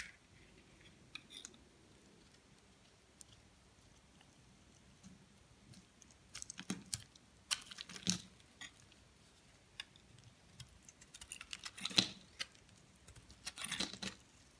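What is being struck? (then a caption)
Bar of soap shaved with a metal blade. A metal blade shaves curls off the surface of a solid white soap bar held in the hand. Soft, dry scraping and crisp crunching come in irregular bursts over a quiet background, bright and high-pitched, with each stroke cutting off sharply with no ring.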